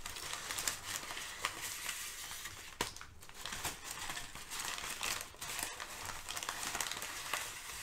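Thin sheets of brown kraft packing paper are shifted, crinkled and lifted with fingertips. The result is a steady, bright, papery crinkling dotted with sharp little crackles and snaps, with almost no low end.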